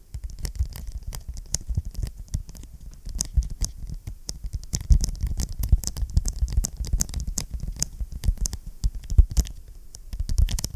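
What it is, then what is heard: Vinyl-covered ring binder. Fingertips tap and scratch across the front cover of a closed blue vinyl-covered ring binder held in both hands. The sound is a rapid, irregular patter of dull, low thuds with bright, scratchy clicks on top. Each tap dies away almost at once, with no ring.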